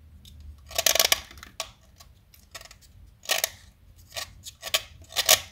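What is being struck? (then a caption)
Blackboard chalk stick scraped with a metal knife blade. A small solid light blue blackboard chalk stick, held in fingers with long pink nails, is carved and shaved with a metal utility knife blade. Short, bright scraping and cutting strokes come in separate bursts with quiet gaps between them, each dry with almost no ring.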